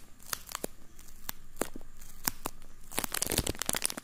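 A thin, empty, flexible clear plastic bag is crinkled and rubbed between fingertips right in front of the microphone. Sharp, bright crackles and crinkles come at irregular intervals over a soft rustling bed, growing busier and denser toward the end.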